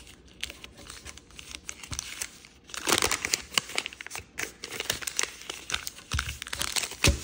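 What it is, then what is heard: Origami paper being folded. A small square of koi-printed origami paper is folded into narrower shapes and pressed and creased with fingertips. Dense, bright crinkling and crackling with many short, sharp snaps comes from the paper, starting soft and growing louder and busier about a third of the way through.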